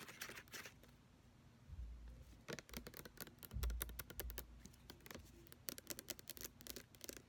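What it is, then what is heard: Plastic lotion pump bottle. Long nails tap and scratch the sides and shoulder of a large, full-looking white plastic hand-lotion bottle with a brown pump, held in the hand. Quick, dry clicks with bright edges come in fast bursts over scratchy rustling. Low handling thumps sound near the start and middle.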